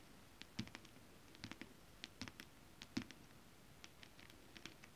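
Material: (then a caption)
Fabric. Long acrylic nails tap and scratch across a flat holographic mermaid scale-print fabric. Quiet, irregular clicks with bright tips and a soft low thud sit over a faint steady hiss, each tap dying away almost instantly.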